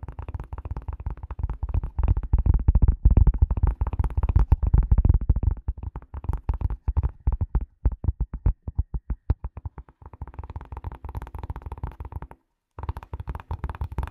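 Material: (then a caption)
Leather. A leather glasses case is tapped in rapid, irregular bursts, producing dull, low thuds with almost no ring. The taps are loudest and densest in the first half, thin out into sparser, quieter taps, pause briefly near the end, then resume.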